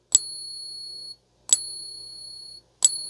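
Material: Silver.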